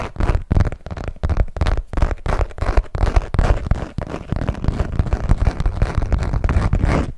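A small, hollow hot-pink saffiano leather zip wallet is held up and tapped and scratched with long nails. The result is a fast, uneven stream of dull, low thumps mixed with soft scratchy rustling, with no ring after each tap.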